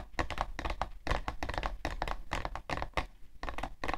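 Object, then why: Cardboard tissue box. Long nails tap rapidly on the side panel of a hollow, printed cardboard tissue box. The result is a quick, uneven run of short, dry hollow clicks and light thunks with almost no ring, and a low thump under the brighter tap edges.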